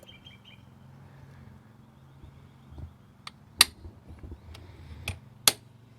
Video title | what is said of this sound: Fitting Injector Blanks and Fuel System - 4AGE Twin Carbs Conversion | when you're tapping you'll hear a much more of a solid sound